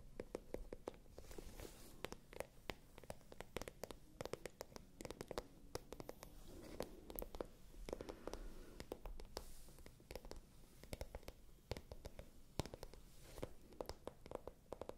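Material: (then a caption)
Patent leather. Long nails tap and scratch across a small, hollow, pale pink patent leather clutch bag. Quick, dry clicks come in dense, uneven bursts over a soft, low scratching rustle. Each tap is short, with almost no ring.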